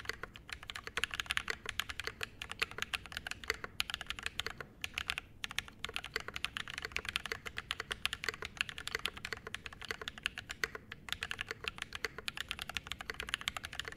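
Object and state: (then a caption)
Mechanical keyboard with ABS keycaps and brass plate. A Mode SixtyFive 65% mechanical keyboard with a metal case, brass plate, Glorious Panda switches and double-shot ABS keycaps sits on a desk mat and is typed on continuously with the fingertips of both hands. A rapid, steady stream of short, crisp clacks is heard, bright and centred around 2.7 kHz with very little low end. Each keystroke dies away almost instantly, with only a few brief pauses in the run.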